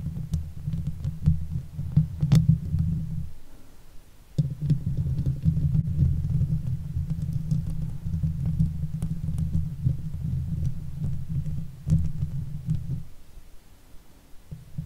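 Long fake nails on both hands scratch the hollow steel mesh grille of a silver Blue Yeti microphone. The result is a dense, low, throbbing rumble of rapid scratches with a steady pitch around 160 Hz and almost no high end. It pauses briefly near the four-second mark and fades off after thirteen seconds.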